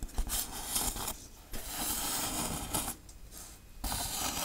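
Long acrylic nails tap and scratch the textured surface of a large, hollow-looking grey-black foam Halloween tombstone prop with raised RIP lettering and a cross, held upright. Dry, bright scratching and rasping come in bursts with low thuds underneath, separated by two quieter stretches where the scraping softens.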